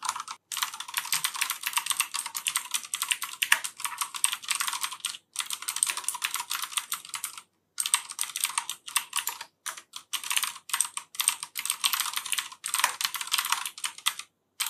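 A black plastic FILCO Majestouch 3 mechanical keyboard with clicky Cherry MX Blue switches is typed on continuously with the fingertips of both hands. Rapid, bright, sharp clicks form dense bursts, broken by several short pauses.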